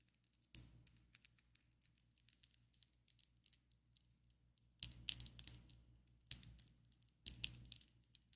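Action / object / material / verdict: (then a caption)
tap / acrylic fake nails / acrylic / none. Long coffin-shaped ombre acrylic fake nails on both hands tap and rub against each other, making quiet, bright, crisp clicks with almost no ring. The taps come in an irregular patter, with louder clusters of clicking and rubbing near the start and again in the second half.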